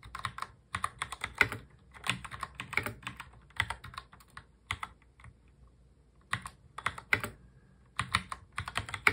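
Both hands type continuously on a full-size black mechanical keyboard with plastic keycaps, fingertips tapping the keys. Bursts of quick, bright plastic clicks with a short, dry decay come in uneven runs, with a longer pause midway before the typing resumes.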